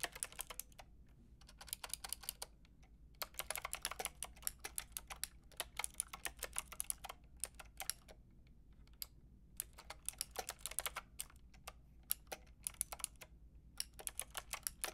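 A Lofree mechanical keyboard with a white plastic case and round pink and grey plastic keycaps is typed on rapidly with fingertips and long red nails. Bright, dry plastic clicks come in quick bursts with brief pauses, each tap dying away almost instantly over a faint low hum.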